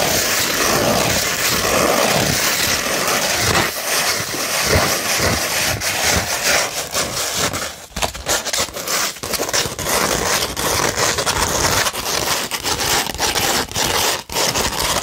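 A curved beige 100-grit sandpaper sheet is scratched and rubbed with the fingers and long nails. It makes a steady, gritty, bright rasping that runs almost without a break, in quick, uneven strokes. The sound briefly drops out around eight seconds and again near fourteen seconds.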